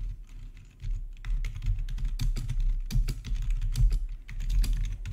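Both hands type with their fingertips on a plastic RGB membrane keyboard with black plastic backlit keycaps, resting on a marble surface. The keys give a steady, irregular stream of soft, muffled clacks with a low thuddy body and brief bright ticks that die away quickly.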